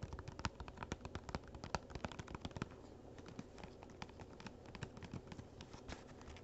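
Fingernails tap quickly on the lid of a small, hollow, printed cardboard gift box lying flat. The result is a rapid stream of short, dry, clicky taps with a soft, low hollow body. The taps are a little louder and more spread out at first, then turn lighter and denser.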